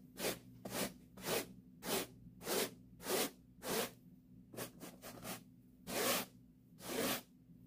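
A white plastic-bristle hand brush is stroked across a soft, padded pink woven-fabric upholstered chair seat. It makes a series of breathy scratching swishes with bright, hissy bristle noise: seven steady strokes, a quick burst of four shorter ones, then two final strokes. Each stroke fades almost instantly, with a faint low hum underneath.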